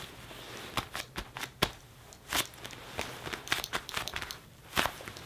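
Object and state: Leather jacket.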